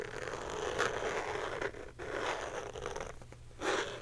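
Long painted nails rapidly scratch and tap a small, hand-sized clear plastic box printed with a colorful lollipop pattern, likely hollow and held up. The result is a steady, dry, bright scratching texture with irregular tapping and louder, brighter scraping bursts near the start and end, over a faint low hum.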